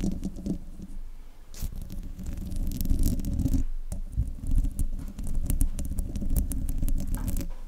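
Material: Metal mesh.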